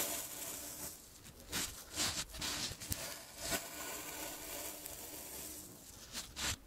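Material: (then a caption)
Sand. A red plastic rake with metal tines scratches and scrapes through loose, soft, solid, pile-sized clumps of blue kinetic sand (sand with a polymer binder) on a dark cloth, while the other hand holds the clumps. Quiet, bright, hissy grating rises in about six short scraping bursts over a faint, steady background.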